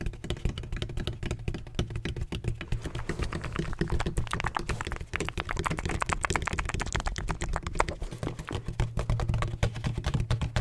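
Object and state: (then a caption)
Textured plastic ring-shaped bottle. Fingertips of both hands tap rapidly and continuously on a large, hollow, black, donut-shaped bottle made of textured plastic with a red cap. The taps are soft, dull and hollow, with a low-heavy body and very short decay, blending into a steady, dense patter for the whole clip.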